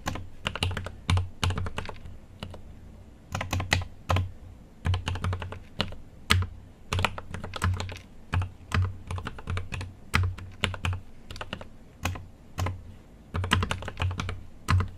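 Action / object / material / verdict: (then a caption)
tap / mechanical keyboard, aluminium case with plastic keycaps / plastic / none. A GMMK Pro mechanical keyboard with an aluminum case and plastic keycaps is typed on with the fingertips in continuous bursts of sharp keystroke taps. Each tap has a bright click over a low, deep thock, and the bursts are separated by brief pauses.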